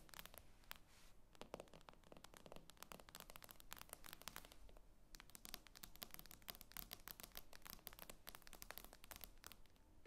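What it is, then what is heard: Glass tablet screen tapped with nails. Long acrylic nails tap rapidly on the glossy glass screen of a tablet lying flat on a table. The quiet, bright, clicky taps come in dense, irregular bursts over a low background hum, each stopping dead with no ring.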